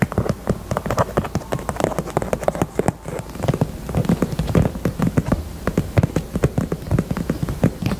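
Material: Faux leather.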